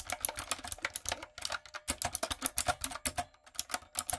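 Rapid typing on a typewriter-style backlit mechanical keyboard with round brown plastic keycaps on a dark frame, struck with fingertips and long coffin nails. About two dozen quick, sharp key taps come in an uneven run, each a bright, crisp click that dies away almost at once, with little low-end weight.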